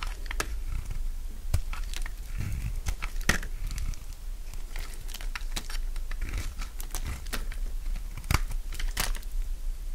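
A palm-sized, solid bar of dry purple soap is held in the hand and shaved with a utility knife blade, peeling off curls. A steady run of crisp, crunchy scraping and cutting strokes repeats throughout, with short bright clicks over a low rumble.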